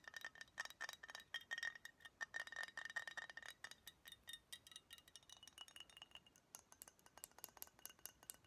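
Fingernails tap on the neck, body and label of a hollow brown glass Budweiser beer bottle held in the hands. Rapid, quiet clicks and clinks sound a short glassy ring near 1.9 kHz through the first half. Later the taps turn lighter, with brighter, higher tones.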